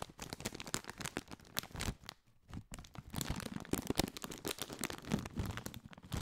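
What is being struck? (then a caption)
Foil-lined plastic snack bag. A partly filled Doritos chip bag, a foil-lined metallized plastic bag, is crinkled and scratched with fingertips. Dense, bright crackles and crunchy rustles come in quick bursts, with a brief near-silent pause around the two-second mark before the crinkling resumes.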